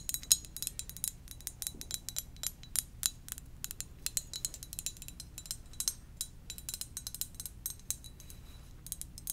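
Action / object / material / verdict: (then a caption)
tap / ceramic mug / ceramic / none. Gentle tapping on a ceramic donut-shaped mug produces a quick, irregular run of light, bright clinks and clicks. Each tap dies away almost instantly, over a soft low hum.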